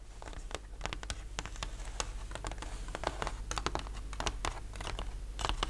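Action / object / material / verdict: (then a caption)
tap / thin laser-cut plywood sheet / plywood / none. A thin, flat plywood model-kit sheet with laser-cut ship parts, solid and lying on a linen cloth, is tapped and scratched with the fingertips and short nails of both hands. The result is a rapid, irregular patter of dry, short clicks and scratchy strokes with almost no ring, over a steady low background hum.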